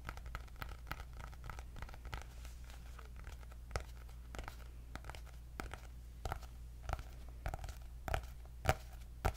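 Long nails tap and scratch the cardboard cover of a white hardcover notebook with gold dots. The clicks and scrapes are quick, dry and irregular, with no ring, and a few land harder toward the end. A steady low hum runs underneath the whole time.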